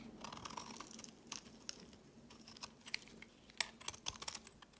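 A steel blade shaves a thin, carved-down piece of white bar soap held in the fingers. It makes a quiet run of crisp, bright scraping ticks and short shaving strokes with almost no low end. Each stroke stops dry, with no ring.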